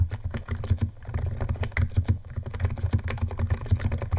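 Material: Plastic.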